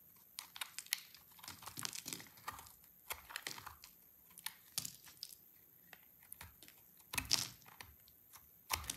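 A solid, dry cream-colored soap bar with orange inclusions is held in the hand and shaved with a utility knife blade. The blade makes a run of short, crisp, bright scraping and crunching strokes. The strokes are irregular, with quiet gaps between them and a louder scrape near the end.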